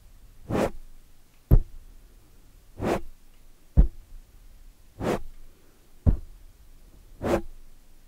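Long metallic-polished nails scratch the sides of a black foam microphone windscreen, then grip and scratch its front. Four soft, breathy scratching swishes alternate with three sharp, deep thumps at a slow, steady pace, against a quiet low rumble.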